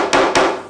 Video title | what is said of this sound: Surface Laminate Repair | all you have to do is just tap on the good laminate. You get quite a distinct noise.